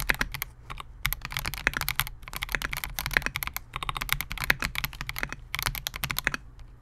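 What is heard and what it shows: A compact 68-key Melgeek MOJO68 mechanical keyboard with Gateron G Pro Silver switches, a clear translucent polycarbonate case and SA-profile plastic keycaps rests on a desk mat while the fingertips of both hands type on it continuously. The result is a rapid, steady stream of short, sharp plastic clacks, bright and centered around 1.7 kHz, with a light low thump under each keystroke and almost no ring.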